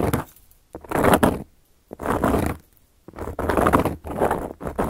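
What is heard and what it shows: Long gold metal claw nails scratch across a round, flat, solid cork coaster. Dry, raspy scratching strokes come in bursts separated by brief silences, with the sound concentrated in the low-mid range and little brightness.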